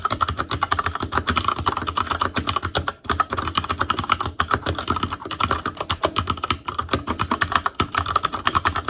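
Fingertips type rapidly on an Asus Claymore Core mechanical keyboard with plastic keycaps, producing a steady stream of dozens of short, dry clacks. Each keystroke has a bright click over a soft low thud. The typing pauses briefly around the three-second mark before continuing at the same quick pace.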